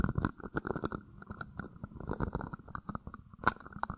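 An empty, hollow, thin-walled red plastic party cup, held in one hand and tilted against a mic grille, is scratched and tapped on its outer wall with fingertips and nails. Close, dry crackling scratches and quick taps come in an irregular stream, with a hollow plastic tone and soft low thumps. Each sound stops almost instantly.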